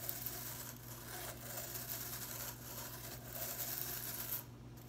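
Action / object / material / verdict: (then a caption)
scrape / plastic broom bristles / plastic / none. Fingers and nails strum and rub the ends of a broom's blue plastic bristles while the broom is held up with the bristles hanging down. It makes a continuous, bright, scratchy rustle with soft swells over a steady low hum, and the sound quiets near the end.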